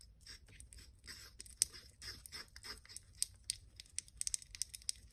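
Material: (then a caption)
Porcelain. A porcelain pestle grinds and scrapes around a small white porcelain mortar with pale paste inside, which is held by fingertips. Soft, hissy scraping and swishing strokes give way to quiet, sharp high-pitched clicks as the pestle knocks against the bowl.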